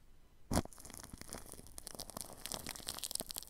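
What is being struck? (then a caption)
Plastic cling film stretched over a microphone, brushed with a paintbrush. A paintbrush brushes plastic cling film wrapped over a ball microphone's grille. After a brief quiet start, a sharp crinkling burst gives way to steady, close crackling and rustling dotted with bright, crisp crinkles.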